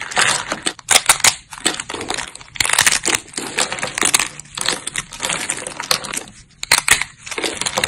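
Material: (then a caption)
Soap. Thin, brittle, solid silver-grey dried soap plates in a pile are snapped and crushed between fingertips and long nails. A dense run of bright, dry crunches and sharp snaps follows, each dying away almost instantly, with almost no low end.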